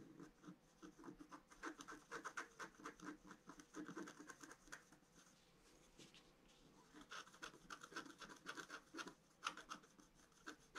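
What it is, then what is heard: Scratch-art card being scratched. A pointed wooden stylus held in the fingers scratches the black coating of a flat A4-size scratch-art card, which has a colored foil layer beneath and lies on a white table while the other hand steadies it. Quick, irregular dry scratching strokes rasp in bursts with a mid-range focus and a bright edge. A quieter stretch in the middle gives way to more dense scratching.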